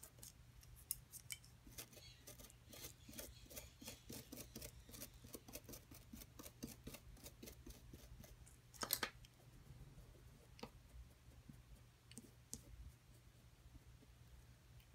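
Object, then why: Plaster block scraped with a metal pick. A metal pick tool with a wooden handle scratches and chips at the top edge of a solid white plaster block from a dinosaur-nest excavation kit resting on a table. A rapid series of short, bright scraping ticks plays over a steady low hum, with a louder, harsher crunch near the middle.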